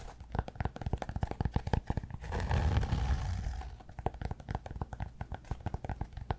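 Fingernails scratch and tap the surface of a solid cork yoga block held up in the air. Rapid, irregular dull taps fill the clip, broken around the middle by a few seconds of continuous low, rough scratching. The taps then resume.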